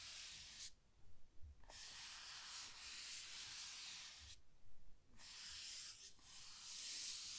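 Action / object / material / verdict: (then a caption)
scrape / rigid cardboard box lid / cardboard / none. Long painted nails scratch slowly across the lid of a large, rigid cardboard gift box that is closed and hollow. The result is a steady, bright, hissing scrape in long strokes, broken by brief quieter pauses, with a faint low rumble underneath.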